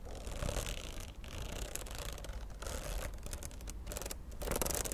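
Long nails scratch the glossy laminated cardboard cover of a popsicle-print spiral notebook held close up, then run along its metal spiral. The result is a continuous, dense rasping scratch with bright, crackly texture and brief dips where the strokes change.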